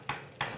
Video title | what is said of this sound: On improvise des conférences Ted X avec Swann et Simon : c’est terrifiant mais si drôle | ça sonne pas porteur pourquoi parce que c'est creux exactement ça sonne creux